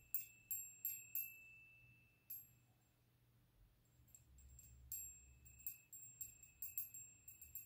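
A rose-gold metal candle snuffer, a small hollow bell on a long thin handle, is held in the hands while the bell is moved and tapped. It gives a series of quick, bright, high chime rings, with a steady upper tone and short decays. The taps come in an irregular rhythm over a faint low hum, with a quieter gap in the middle.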